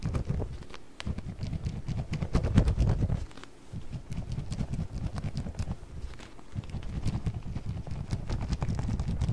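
A small round clear plastic container with a blue lid, partly filled with orbeez, is shaken by hand on either side of a microphone. The result is a continuous, soft, muffled rattling of beads against plastic that sits mostly in the low range. The sound briefly quiets near one, three and a half, and six and a half seconds before the shaking picks up again.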